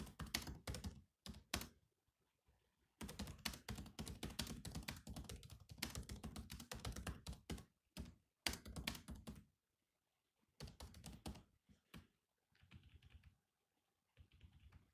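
Fingertips type on the black plastic keys of a silver laptop keyboard, producing quick bursts of key taps separated by short pauses. Each tap is a short, dry click with a dull, low thunk and a bright edge, fading almost instantly. The typing comes in an uneven rhythm, with a long dense run in the middle and softer, sparser taps toward the end.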